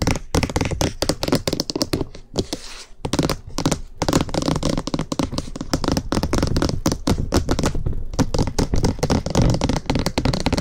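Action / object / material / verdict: tap / plastic microphone housing / plastic / none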